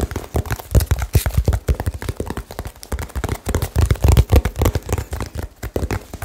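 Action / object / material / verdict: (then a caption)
tap / small cardboard box / cardboard / none. Fingertips tap rapidly and aggressively on a small, hollow cardboard box with blue tape, held close to the mic. The result is a fast, irregular stream of short, dull, low thumps with almost no ring and very little high-end content.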